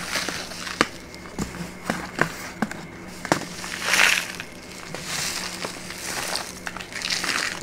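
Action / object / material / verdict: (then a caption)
tap / kraft paper bag / paper / none. An empty or nearly empty brown kraft paper bag is handled with both hands, folded, crinkled and tapped with the fingertips and nails. Sharp, dry taps are scattered between bright, crackly paper rustles, with a louder crinkling swell midway and softer crumpling toward the end.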